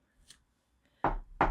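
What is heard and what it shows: A wooden table is knocked twice with sharp, dull thuds that each die away quickly, after a faint, brief high tick near the start. The knocks sound ordinary, with a short ring in an otherwise quiet setting.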